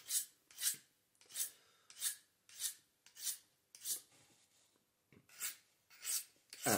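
A small folding Victorinox-style pocket knife with a reddish handle is held open while its solid steel blade is sharpened over a workbench with quick strokes of a small grey handheld carborundum (silicon carbide) stone. About ten separate bright, hissing rasps of stone on steel are heard, each short with no ringing, in an uneven rhythm with a brief pause near the middle.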